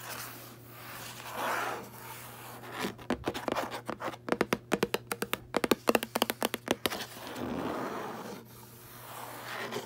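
Fingertips and long nails scratch and rub the cream paper endpaper inside the cover of a red hardcover book lying open on a bed. Soft, swelling rubbing sounds open and close the clip, with a quick run of crisp, sharp scratches in the middle over a faint steady low hum.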